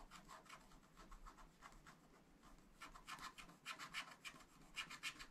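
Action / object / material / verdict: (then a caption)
scrape / wax-coated scratch art paper scraped with a wooden stylus / waxed paper / none. A wooden stylus rubs and scratches the design of a building on the right side of a black wax-coated scratch art sheet in a flat spiral pad. It makes a rapid, uneven series of dry, bright scratching strokes, about three or four per second. The strokes grow louder and crisper toward the end.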